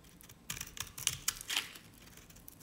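A knife blade shaves strips from the surface and edge of a dry, stamped cream-colored solid bar soap by Nevskaya Cosmetics. The result is a series of short, bright, crisp scraping crackles with almost no ring, set against quiet, soft background noise.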